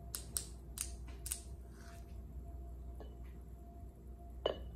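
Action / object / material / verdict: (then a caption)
tap / polished granite countertop / granite / none. Long acrylic nails tap a large, solid, polished granite countertop, giving five sharp, bright clicks over a steady low hum. The taps end with a single nail scratching across the surface.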